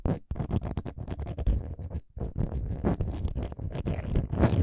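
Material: Metal.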